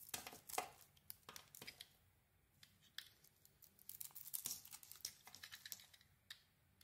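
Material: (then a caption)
Soap. A solid oval pink soap bar with a burgundy and gold coated surface, held in the hand, is shaved with a metal blade. The blade makes a quiet run of crisp, bright scraping and crackling strokes that flake off the coating. The strokes come in bursts with short pauses between them.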